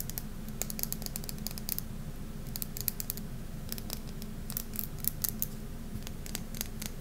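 Manicured fingernails tap and scratch the glossy surface of a solid oval bar of hard Safeguard soap coated in purple glitter, held in the hands over a marble surface. Rapid, irregular, bright clicks and short scratches sound over a steady low hum. Each tap dies away almost instantly.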